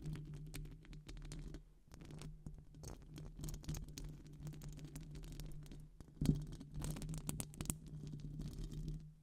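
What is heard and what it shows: Long acrylic nails scratch and tap a hollow, silver metal wire-mesh microphone grille with both hands. The result is a dense, crackly run of scratches and light taps over a steady low hum, with a sharper, louder tap just past the six-second mark.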